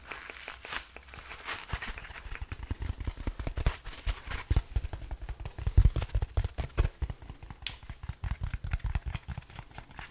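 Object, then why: Foam kitchen sponge. A small, palm-sized yellow foam kitchen sponge block, soft and porous rather than hollow, is squeezed and rubbed with fingertips and nails. It gives a steady run of soft, muffled low thumps with crackly, squishy texture and occasional brighter scratchy flicks. The sound is close and dry, with no ring after each press.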